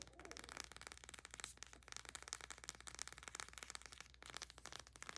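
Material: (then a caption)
Plastic. Long nails rapidly tap and scratch along a small plastic tube of bath soak with a paper label, held in both hands. The result is a quiet, fast stream of crisp, bright clicks and scratchy rustles over a faint steady low hum.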